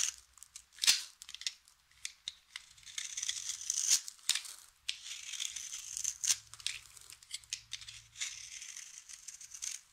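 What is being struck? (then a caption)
Bar of soap. A utility knife blade carves and scrapes cubes and flakes off a solid, hand-sized bar of dry yellow soap held in the palm. The sound is quiet, bright, crisp scraping and crunching, broken up by sharp, dry snaps with almost no ring. Little drifting crumbles fill the gaps between cuts.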